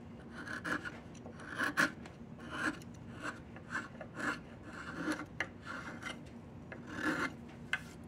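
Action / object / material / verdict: scrape / diamond willow wooden walking stick / wood / none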